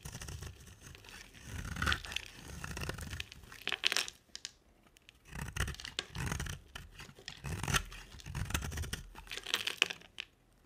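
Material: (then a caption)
Soap. A solid oval pink soap bar with a dark glitter-coated rim is held in the hand and shaved with a box-cutter blade, piling up pink shavings beside it. The carving gives dry, crackling scrapes in repeated bursts, bright and crisp, with a soft low rumble underneath and short quiet gaps between strokes.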